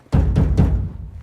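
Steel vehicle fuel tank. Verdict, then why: Empty. Three hollow, drum-like booms come from banging on the steel fuel tank of a 39-year-old Ford F150 that cranks but won't start. The deep, low booms overlap and fade quickly, and the sound shows the tank is empty, so gas must be added before continuing the diagnosis.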